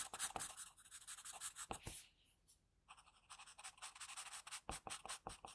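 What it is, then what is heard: Pencil on drawing paper. An HB wooden graphite pencil held in the fingers sketches and shades a face on a thin, solid, flat sheet of white drawing paper resting on a desk. Quiet, bright, dry scratching strokes come in quick bursts, easing to near silence for a moment midway before the rapid shading resumes.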